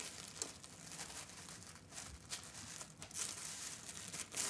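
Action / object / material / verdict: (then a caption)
scrape / tissue paper sewing pattern / tissue paper / none. A thin tan tissue paper sewing pattern sheet lies on a fabric ironing board while hands fold it into a small rectangle and rub the folds flat with their fingertips. The result is a quiet, continuous, bright crinkling and rustling, with a few slightly louder crinkles along the way and almost no low end.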